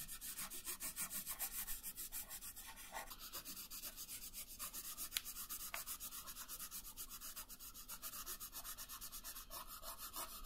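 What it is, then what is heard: Colored pencil shading on paper. A wooden colored pencil shades a thin paper coloring page resting on a wooden table. Quick, steady back-and-forth strokes make a soft, bright, scratchy rubbing hiss, with a few slightly sharper strokes standing out along the way.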